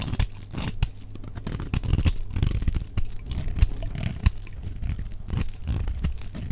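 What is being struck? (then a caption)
Bar of soap cut with a knife blade. A utility knife blade carves flakes off the edge of a solid, dry, blue elongated soap bar held in the hand, played back at double speed. Quick crunchy scrapes and cuts follow one another with sharp clicks, heavy in low-end thump with brief bright crackle.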